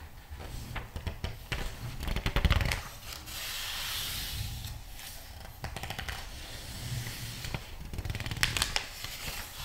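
Fingertips rub across the glossy paper pages of a thick magazine lying open and turn them. Dry, close rubbing and a smooth, bright hiss alternate with sharp crinkling rustles and snaps as the pages flip, over a low rumbling undertone.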